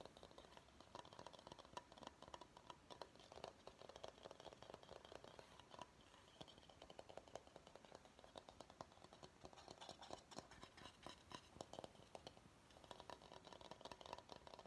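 Fingernails tap and scratch the outside of a medium, empty bamboo bowl. The result is a quiet, steady stream of rapid, dry clicks and scrapes over a light, mid-pitched hollow tone, with bright scratchy detail and very little ring after each touch.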